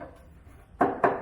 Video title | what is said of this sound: Simple Way To Mount Seats in Your Humvee | It even sounds like metal. It's so weird. It might be fiberglass, but this is not metal.